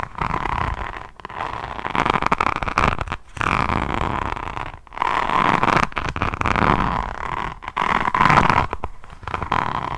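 Long nails scratch in short strokes over the textured drills of a solid, roughly A5 hardcover diamond painting notebook whose front is covered in green and gold faceted resin rhinestones. The result is a steady, dense, crackly scratching in bursts, separated by brief silent pauses, with a faint tonal band near 1 kHz running through it.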